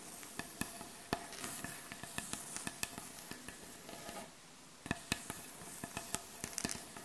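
Long acrylic nails scratch and tap on the surface of a solid, light-colored wooden butcher block board. A soft, steady rasp of scratching runs under a string of sharp, dry taps with very short ring, pausing briefly near the middle before the tapping resumes. The sound is quiet and bright overall.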